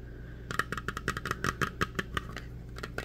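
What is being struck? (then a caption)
Small round metal tin with lid. Fingertips quickly tap the lid and rim of a small, hollow, round metal tin with a colorful printed lid, making about fifteen short, bright metallic clicks with a light ring near 1.3 kHz. The taps come in an uneven, fast rhythm over a steady low hum, with a brief pause before the last few.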